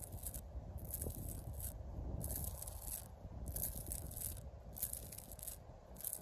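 Long pink acrylic nails scratch and rub across the ridges of rough bark on a solid tree trunk. Repeated bursts of dry, bright scraping come in uneven strokes over a low, rumbling background.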